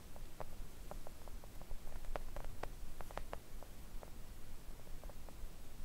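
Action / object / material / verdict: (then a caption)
tap / silicone nail art mat tapped with acrylic nails / silicone / none. Long acrylic nails on both hands gently tap a thin, solid, flat pink silicone nail art mat lying on a table. The result is a quiet, irregular patter of soft, short clicks over a low, steady background rumble.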